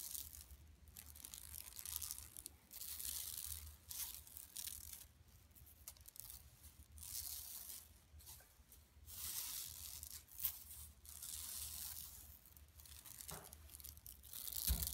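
Long nails scratch along the surface of a flat, empty yellow woven plastic mesh tote bag lying on carpet. The result is quiet, bright, raspy scratching in repeated bursts with brief pauses between them, over a steady low hum.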